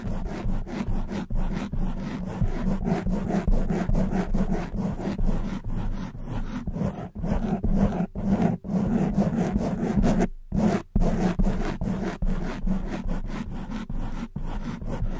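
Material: Foam.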